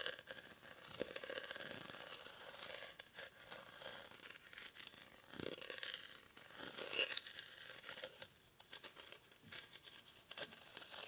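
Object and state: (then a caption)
Woven rattan basket. Short fingernails scratch the weave of a hollow, cylindrical woven rattan/reed basket held in both hands. The result is a steady, quiet, dry scratching and crackling, mostly high and bright with almost no low end, and a few louder rasping strokes along the way.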